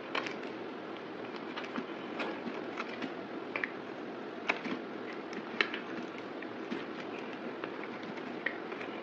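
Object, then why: Solid bar of soap scraped with a blade. A yellow box cutter blade scrapes and carves flakes off a solid, palm-sized oval bar of white soap held in one hand. The result is a steady dry, crackly scraping texture with no low end, broken by scattered sharp, bright clicks as the blade bites into the surface.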